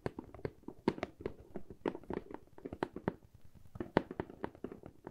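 A medium hollow corrugated cardboard box with a handle slot is tapped on its sides with long fingernails and fingertips. About two dozen quick, irregular taps sound as dry, hollow knocks with a muffled low-mid body and almost no ring. The sharper nail clicks stand out among the softer fingertip thuds at a quiet overall level.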